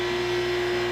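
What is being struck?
Nothing is struck.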